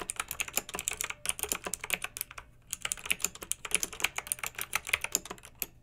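Fingertips and long nails type fast on a pink backlit plastic mechanical keyboard with round plastic typewriter-style keycaps. Bright, sharp clicks come in quick bursts, with short pauses near the first and middle of the clip, and each one dies away almost instantly.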